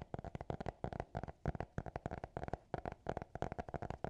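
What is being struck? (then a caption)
Hardcover notebook. Fingertips and nails tap and scratch the closed hard cover of a small black notebook. About 19 quick, dry taps are heard, each a short low, muffled knock with almost no ring. Faint scratching fills the gaps between them, giving a soft, rapid, uneven rhythm.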